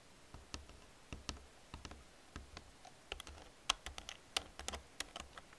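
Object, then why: Plastic computer keyboard. Fingertips with long nails press the keys of an old black plastic computer keyboard in an irregular typing rhythm. Each press gives a sharp, bright plastic click that stops at once, with a faint low thump beneath, over a quiet background.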